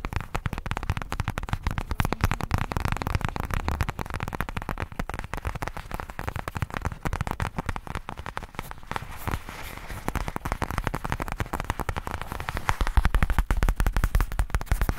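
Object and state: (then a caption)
Faux leather case scratched and tapped. Fingertips scratch and tap the pebbled surface of a black faux leather case, producing a dense, continuous stream of rapid, irregular crackling taps. The taps are dry and short with almost no ring, carrying a heavy low-end thump under a faint grainy scratch.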